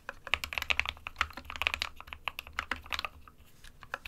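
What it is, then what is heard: Plastic mechanical keyboard. Fingertips of both hands type steadily on an SK61 compact 60% plastic mechanical keyboard with white and grey keycaps. The short, bright, clacky keystrokes come in quick, uneven bursts, with a faint low hum underneath.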